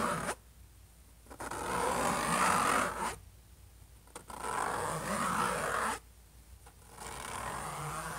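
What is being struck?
Laptop lid, hard plastic or metal shell.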